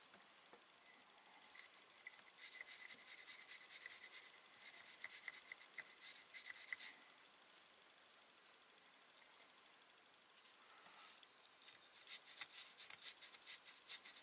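A twisted pipe cleaner is pushed and rubbed back and forth through the bowl and stem of an empty, hand-sized hollow briar wood tobacco pipe held in the hands. It makes quiet, bright, scratchy scraping and rubbing strokes with a faint whistling tone near 2 kHz. The strokes pause briefly in the middle before the rapid rubbing resumes.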